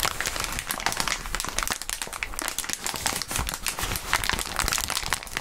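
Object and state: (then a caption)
Plastic bubble wrap. Clear plastic bubble wrap is rubbed and crumpled by gloved hands and fingertips just above a mat. A steady, dense crinkling of bright crackles and rustles runs throughout, with small swells in loudness as the wrap is worked.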